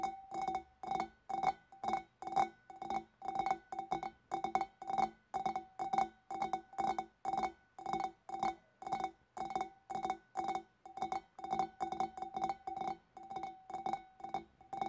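Long dark nails tap the shoulders near the neck of a large, empty, hollow clear glass fish bowl, using both hands. The result is a steady stream of quick, bright clinks in short clustered bursts, each with a clear ringing tone around 780 Hz that fades fast.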